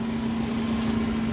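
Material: Nothing is struck.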